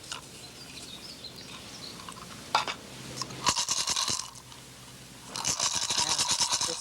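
A turtle shell rattle filled with small pebbles is shaken while its mouth is held closed. The pebbles make bright, rapid rattling in two bursts. The rattle sounds right, so the amount of pebbles is correct and the shell is then wired shut.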